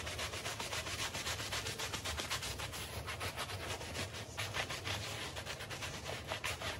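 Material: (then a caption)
Textile. A handheld bristle brush scrubs a small patterned woven textile rug covered in soap foam while a palm presses the rug down. Rapid back-and-forth strokes make a steady, bright, rasping scrub with a faint low rumble underneath, continuing without pause throughout.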